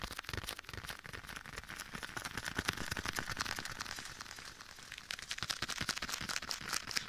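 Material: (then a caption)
Leather. Bare fingertips tap and pat a soft, hollow black leather glove worn on one hand and held beside the ear of a binaural microphone. The result is a dense, irregular stream of quick, soft, crackly taps with bright highs and little low end, smeared by an added echo effect.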